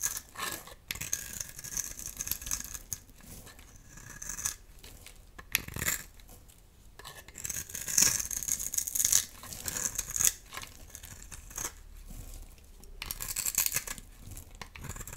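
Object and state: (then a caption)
Dry soap bar. A dry, solid oval teal soap bar held in the palm is scored and scraped with a metal utility knife blade, and cube-shaped pieces break off. The result is a run of crisp, bright scratching and crackling bursts with quiet gaps between them and very little low end.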